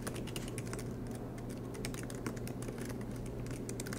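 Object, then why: Laptop keyboard, plastic keys on aluminum body. Fingertips with short nails type quickly on the black plastic keycaps of a silver MacBook Pro with an aluminum body, lying flat on a desk mat. A steady stream of soft, bright key clicks plays over a constant low hum.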